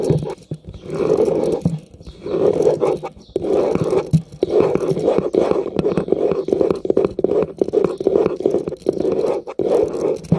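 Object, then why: Plastic round hairbrush with metal pins. Fingertips and nails strum and scratch across the thin, ball-tipped metal pins of a hand-sized light blue plastic round hairbrush held close to the camera. The strokes make a raspy, buzzing scrape centred in the midrange around 400 Hz, coming in repeated rhythmic bursts with brief pauses between them.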